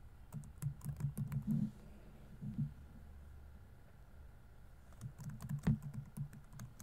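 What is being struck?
Plastic laptop keyboard.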